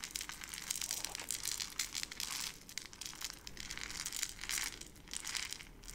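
A small clear plastic jar partly filled with dry brown-beige granules is held in both hands with long red nails, gripped, squeezed and shaken. It gives a steady stream of bright, crunchy crinkling and crackling with no low rumble, swelling and easing in waves over six seconds.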